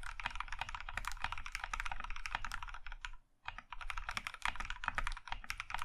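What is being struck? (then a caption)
Mechanical keyboard with plastic keycaps in a metal case. Both hands type with their fingertips on a compact mechanical keyboard in a maroon metal case with cream plastic keycaps. Rapid, crisp clicks and clacks run almost continuously, with a low thocky body under bright snaps. They break off for a brief pause near the middle, then the fast typing resumes.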